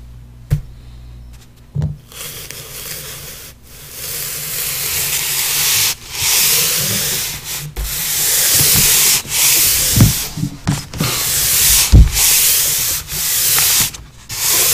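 An open palm and fingers rub and smudge across a large flat sheet of drawing paper covered in pastel, laid on a board. Long, bright, hissy sanding-like strokes sweep back and forth with brief pauses between them, and a few soft low thumps come through when the hand presses down.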